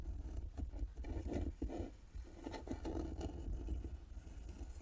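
Long nails scratch the carved wooden lid and embossed metal plaque of a small hollow carved wooden box resting on a table. The result is a soft, continuous scratching texture with a low, dull body and brief sharper scrapes, fading quickly without ringing.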